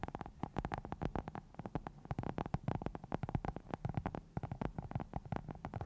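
Long nails of both hands scratch and tap a round black foam cover on a microphone. This produces a rapid, uneven stream of short, dull, muffled taps and soft scratching. The sound is heavy in the low end, with a faint hum underneath.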